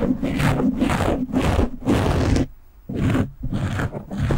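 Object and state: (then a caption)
Foam microphone windscreen being scratched. Short, polished nails on both hands scratch a soft, porous black foam windscreen on a standing microphone. The result is a series of rough, scratchy rustling bursts with a heavy low rumble and airy brightness on top. The bursts run close together, pausing briefly once near the middle before the scratching resumes.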